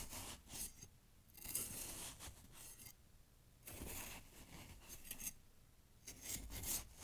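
A kitchen knife with a grey handle is pushed down into fresh snow packed to the rim of a wide glass jar and scraped through it repeatedly. Bursts of crunchy, bright scraping and cutting noise rise and fall in several passes, with quieter gaps between them.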